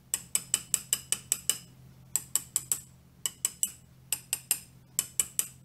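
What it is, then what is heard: Cast iron lathe slide being hand-scraped. A pointed steel hand scraper is drawn in repeated strokes across the top of a small cast iron or steel mini-lathe cross slide part, which is held by hand on a granite surface plate. Each stroke makes a short, bright, high scratchy click with almost no ring, for 21 strokes in bursts of eight, four, three, three and three. The clicks sit over a faint low hum.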